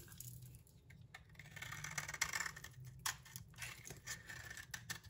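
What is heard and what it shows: A utility knife blade scrapes the surface of a solid green bar of soap held in hand, peeling off curly shavings. The quiet, bright scraping comes in uneven crackling strokes over a faint low hum.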